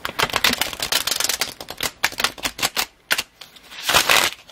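Fingertips and nails tap rapidly on a solid, palm-sized stack of paper tarot cards with blue backs resting on a red cloth table, giving a quick run of crisp, bright clicks with almost no low end. The tapping thins into sparser, separated taps. It ends with a louder, breathier rustle as the deck is lifted.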